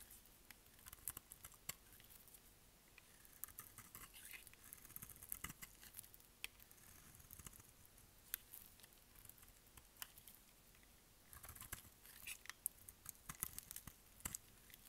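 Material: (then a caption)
Soap. A solid, dry pink bar of soap is held in the hand and shaved with a utility knife blade, curling flakes off its surface. The scraping is quiet and crisp, with bright, short clicks and scratches scattered through a soft, hissy background, bunching into denser bursts near the start and again toward the end.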